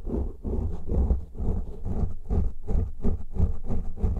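Both hands scratch the tops and sides of two large black foam windscreens covering a pair of microphones, using fingertips and nails on the soft porous foam. The result is a steady run of muffled, deep scratching bursts, about three per second and somewhat uneven, with almost all the energy in a low rumble and nothing bright on top.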